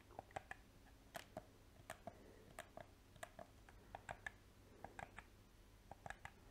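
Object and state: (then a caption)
Plastic game controller. Painted fingernails and fingertips click the buttons and tap the shell of a small, hollow black PS4 plastic game controller. A quiet, irregular run of short, dry, sharp clicks and taps, each dying away almost instantly, sits over a faint low background hum.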